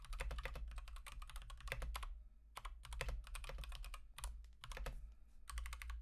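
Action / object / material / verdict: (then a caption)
tap / plastic mechanical keyboard / plastic / none. Fingertips type continuously on an Akko 3108 v2 Monet's Pond mechanical keyboard with Gateron Pink switches and teal and white plastic keycaps. Quick bursts of bright clacky keystrokes come in runs, broken by brief pauses, over a steady low hum.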